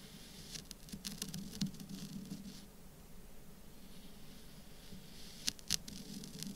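A folding knife with a metal blade slices and scrapes through a small, solid, compacted mound of orange kinetic sand on a dark surface while the other hand steadies the pile. Soft, irregular gritty patter and crisp high scraping ticks run over a low steady hum. Two sharper bright crunches come near the end.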